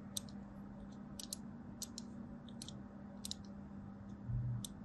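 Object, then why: Bar of soap. A thin blade scores the end edge of a solid striped soap bar, leaving small crumbs. Quick, crisp, high clicks and ticks sound in scattered bursts over a steady low hum, with a soft low thump near the end.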